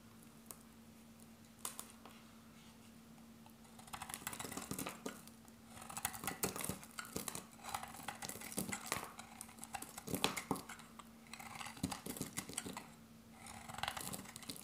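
A hand-sized, solid rectangular dark grey dry soap bar with glitter is held in the hand and sliced with a metal box-cutter blade. Crisp, dry scraping cuts come in bursts of short, bright crackles, quiet at first and then denser, over a steady low hum.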